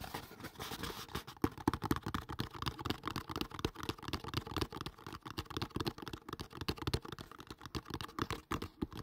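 A hollow kraft cardboard box, held above the mic, is tapped quickly with the fingertips. It makes a steady stream of soft, dull, papery thuds, mostly low in tone, each dying away at once with no ring.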